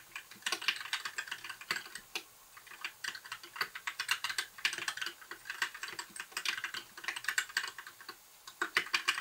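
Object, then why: Mechanical keyboard with plastic keycaps. Fingertips type continuously on a compact white backlit mechanical keyboard with plastic keycaps. The clicks are sharp and quick-decaying, with a bright, clacky tone centered in the upper midrange and no low end. They come in dense, uneven bursts with brief pauses between runs.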